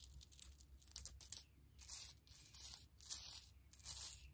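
Long-nailed fingers pick through a pile of small, solid, silver-tone metal charms held in the palm and scattered on a faux fur rug, letting them clink together. Quick, bright clinks and tinkles fill the first second and a half, followed by several longer jingling, rattling swells as the charms are stirred and spilled, all over a faint low hum.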